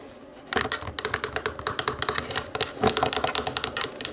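Long acrylic nails tap and scratch across the rubber buttons of a small, hollow black plastic DVD remote lying on a wooden table. After a half-second of quiet, 27 quick, bright, clicky taps follow in a rapid, uneven run, each dying away almost at once with a light scratchy rattle between them.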